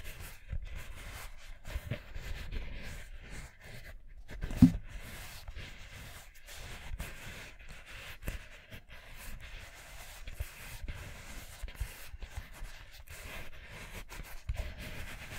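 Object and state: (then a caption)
Rubber mini basketball. A small hollow orange rubber mini basketball held in both hands is scratched and tapped with fingernails and fingertips. Soft, muffled thumps and light scratching repeat quietly throughout, with one sharper, louder tap near the middle.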